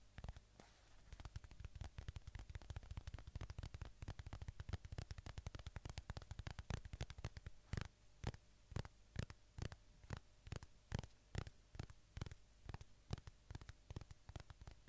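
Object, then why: Polyurethane foam squishy toy. A small, solid polyurethane foam squishy shaped like a watermelon slice is held upright close to the microphone while fingertips tap and scratch its surface and squeeze it. The result is a dense run of soft, muffled, low-heavy taps and scratchy rustles. The taps later thin out into more spaced, sharper clicks.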